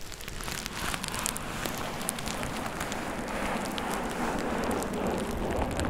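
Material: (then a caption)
Plastic. A thin purple plastic bubble-wrap sheet held over the ears of a dummy-head microphone is squeezed, rubbed and crinkled by hands and fingertips. The result is a dense, steady crackle with scattered sharp, bright ticks over a low rustling bed.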